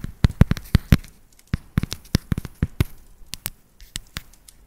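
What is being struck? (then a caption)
Dark chocolate bar. A solid dark chocolate bar held upright is tapped on its flat back with long nails, about twenty quick taps at an uneven pace. Each tap is a short, dull, low thud with a faint bright click and no ring, separated by near silence.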